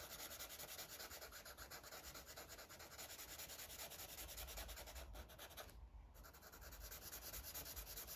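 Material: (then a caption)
Paper. A yellow felt-tip marker is rubbed rapidly in small circles on the same paper coloring book page to fill in a sun drawing. The sound is a steady, bright, scratchy rubbing with a quick repeating rhythm, broken by one brief pause near the sixth second.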